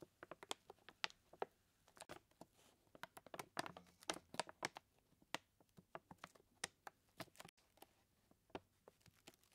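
Fingertips and nails of both hands tap and scratch the paper surface of a large, full white paper bag of flour standing on a wooden table. About 29 short, dry, crisp ticks and scrapes with bright papery crackle are heard, each dying out almost instantly over a quiet background.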